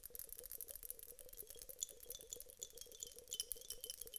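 A teardrop-shaped glass vase filled with clear water beads is held in the hands, shaken and tapped with long acrylic nails. The beads rattle inside in a quiet, continuous, uneven patter of short, bright clicks and ticks.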